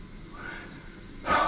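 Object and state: Nothing is struck.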